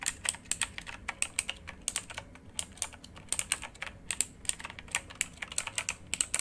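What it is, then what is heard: Mechanical keyboard with plastic keycaps. Both hands type rapidly with their fingertips on a full-size backlit RGB mechanical computer keyboard with plastic keycaps and a hollow housing, lying flat. Dozens of quick, bright, crisp clicks and clacks follow in an uneven rhythm. Each keystroke is sharp and dies away almost instantly, with very little low-end weight.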